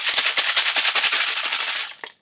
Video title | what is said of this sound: 2nd Grade Activity Part 1 | this makes more of a sound similar to our maracas or egg shakers at school, because inside those are little beans or beads